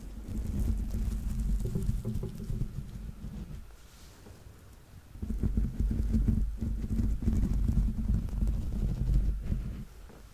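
Fingernails tap and scratch the grey, textured, rubber-dotted soles on the soft stuffed feet of a yellow Laa-Laa Teletubby plush held close to the mic. The result is a dense, low, muffled patter of soft thuds and scuffs. It quiets around the four-to-five-second mark, then resumes just as busy.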